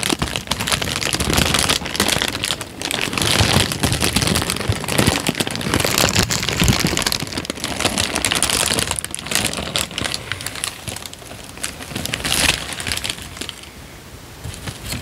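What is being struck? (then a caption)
Thin paper sheet. A thin tan paper sheet is crumpled and then spread out with both hands, giving a dense, bright crinkling and crackling that runs almost without a break. The rustle stays fairly steady for most of the clip, then eases off and grows quieter toward the end.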